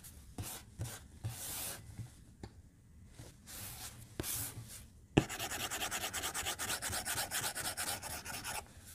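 A white plastic stylus tip strokes the glass screen of a tablet lying flat on a desk as it draws lines. Scattered soft swishing strokes with faint taps come first, then a sharp tap is followed by a fast, steady run of bright, rhythmic scratching strokes that stops just before the end.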